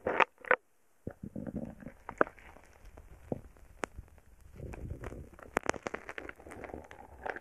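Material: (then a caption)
Slime, foam beads. A wooden stick pokes and presses into a small heart-shaped lump of purple foam bead slime (floam), packed with tiny foam beads, solid and soft, resting on a stereo microphone. It gives dense crackling pops and squishy crunches. Two loud bursts open the clip, then a brief silence, then a steady stream of quieter sharp clicks and bright snaps.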